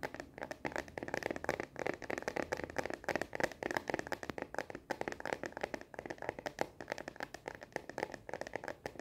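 Long nails tap quickly and continuously on the back of a star-print translucent plastic case on a smartphone held upright in both hands. The taps are short, dry plastic clicks with no ring, centered in the mids with a bright edge and almost no low end. They form a fast, steady patter throughout.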